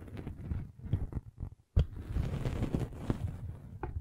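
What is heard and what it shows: A metal-spiked derma roller is rolled along the top edge of a red velvet bag covering a microphone. It makes a muffled, low rumbling scrape with soft, uneven bumps and textured rustling. After a brief silence, the sound resumes with a sharper, louder contact, then continues as a steady, close scratching roll.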